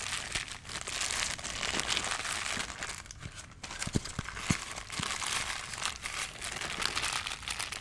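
A white, hand-sized, rigid molded polystyrene foam packing insert with hollow cutouts is held close to the microphone and rubbed and squeezed with the fingertips. It makes continuous bright foam squeaks and crinkles, with a few sharper creaks standing out.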